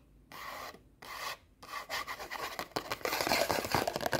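Long nails scratch and rub the face of a small, solid orange stack of paper sticky notes held in both hands. Two slow, separate rasping strokes are followed by quicker, denser scratches that speed up and grow louder toward the end. The sound is a dry, bright papery rasp with almost no low end.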